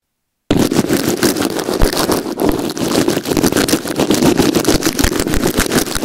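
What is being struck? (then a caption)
Plastic earphone inline remote under clear tape, scrubbed with a nail brush. A small white plastic inline remote on an earphone cable, taped down with clear plastic tape on a white surface, is scrubbed back and forth with the bristles of a blue plastic nail brush held in the fingers. After a brief silence, a dense, continuous run of rapid, scratchy, rustling strokes fills the rest of the clip. Each stroke is a short, gritty burst with a low-mid body and a hissy, bright edge.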